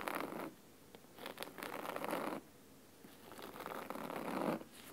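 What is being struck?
Cloth-bound hardcover book.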